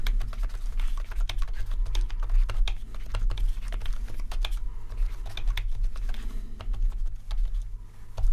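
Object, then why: Plastic membrane keyboard. Fingertips type continuously on the keys of a full-size RGB rainbow-backlit plastic membrane keyboard. Many short, clicky keystrokes with bright edges come in quick, uneven bursts over a steady low hum.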